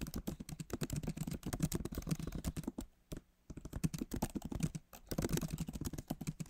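Fingertips of both hands type rapidly on the backlit keyboard of a MacBook Pro, its plastic keys set in a solid aluminum body. The result is a dense stream of short, soft, low clacks with a muted thump, pausing briefly near the middle and again after about five seconds.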